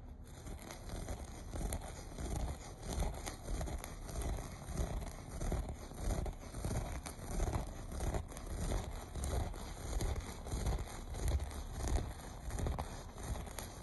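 Fingertips and short nails repeatedly scratch the loops of a low-pile, looped beige carpet laid as a solid floor covering. The result is a steady, soft, crinkly rustle in uneven rhythmic bursts, heavy in low rumble with very little brightness and no ringing.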